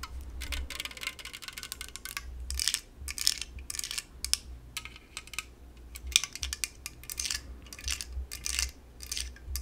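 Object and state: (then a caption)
Aluminum soda can. An unopened LaCroix aluminum soda can is tapped on its side and top with long nails, giving a rapid, irregular run of light, bright clicks and metallic ticks. Each tap dies away almost instantly, with some taps grouped into brief flurries over a faint low rumble.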